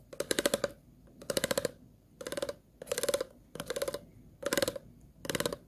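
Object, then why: Ridged plastic water bottle. The tip of a pair of plastic-handled scissors scratches across the ridged grooves of an empty, hollow, clear plastic water bottle held in hand. Seven separate bursts of rapid, ratcheting clicks each sound a hollow plastic tone near 570 Hz with a bright, crackly top. Short quiet gaps fall between the bursts.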